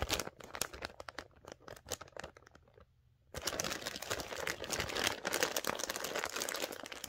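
Long dark-painted nails and fingertips grip, rub and crinkle a flexible, hollow floral-printed plastic poly mailer with a shipping label, held in both hands, while turning it over and starting to open it. Sparse, sharp, bright crinkles and crackles come first and fade to near silence just before the three-second mark. Then a louder, dense, continuous rustling crinkle runs to the end.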